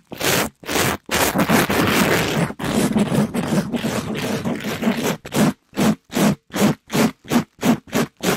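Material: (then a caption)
Polyester mesh. A palm-sized, soft, flexible pink sparkly glitter scrub sponge (polyester mesh over foam), held in a black nitrile-gloved hand, is quickly brushed and scraped against a microphone grille while being squeezed and bent. Rough, broadband scratchy scraping comes in short bursts, then a dense continuous stretch. It ends in a run of quick, separate rhythmic strokes with a low buzzy undertone around 200 Hz.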